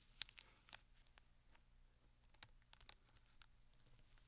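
Fingertips and short nails tap and scratch the film-covered edges and top of a closed, flat rectangular cardboard Penhaligon's perfume gift box, still wrapped in clear plastic film and lying on a sequin cloth. Quiet, bright, dry crinkly clicks come in scattered bursts over a faint steady low hum, with a few sharper taps that stop instantly.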